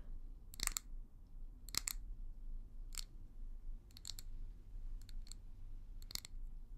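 Long nails scratch and tap a small, hollow amber glass tumbler with a leopard pattern that looks empty. Short, bright, crisp clicks and scratchy bursts come in scattered clusters over a faint, steady low hum, each dying away almost instantly.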